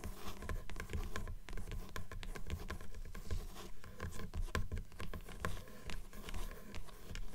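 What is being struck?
Closed paper book, page block edge.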